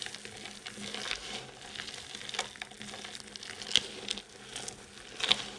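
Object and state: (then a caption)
Dry soap shavings crushed by hand. A pile of dry soap shavings, solid chips and crumbs, is gathered and crushed between the palms and fingers, then rubbed and stirred by hand on a white surface. It gives a soft, bright crackling and crumbling texture with scattered sharper crunches.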